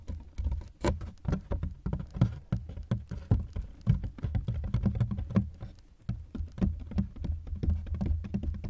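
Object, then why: Hard-shell plastic suitcase. Fingertips of both hands tap the ribbed sides of a large, hollow black hard-shell plastic suitcase, which is partly unzipped with a microphone inside. The result is a quick, steady patter of soft, hollow thumps, deep and muffled with almost no bright edge. The tapping briefly dips near the one-second and six-second marks before picking back up.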